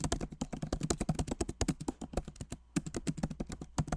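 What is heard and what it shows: Both hands type rapidly with fingertips on the plastic keycaps of a backlit MacBook Pro Magic Keyboard set in an aluminum body. The result is a quick, uneven run of short, dry, low-toned taps with almost no ring, and a brief pause about halfway through.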